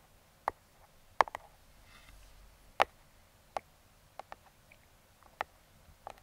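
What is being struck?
Small cardboard box tapped with metal fingertip picks.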